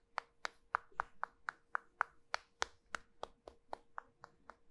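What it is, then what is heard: Starch-coated soap bar. Two halves of a small, solid pink soap cylinder coated in starch are held with long nails, rubbed and lightly knocked together. This produces a steady series of 17 short, crisp clicking taps with a dry, bright edge and a faint steady hum underneath.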